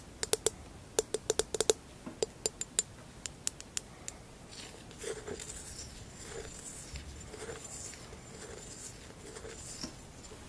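Long acrylic nails tap the base of a hollow amber textured glass vase held in the hands, making a quick series of short, bright clicks with a faint glassy ring near 430 Hz for the first four seconds. The nails then scratch across the vase's textured sides, making a soft, airy rasping that swells and fades in uneven strokes until a final tap at the end.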